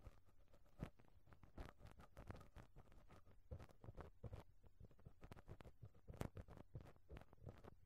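A pink rubber brush on a black stick is rubbed and pressed against the perforated metal mesh grille of a small microphone head. It makes a quiet, steady run of soft, muffled thumps and scratchy brushing with a deep, bassy body and very little high end. Each tap dies away almost instantly.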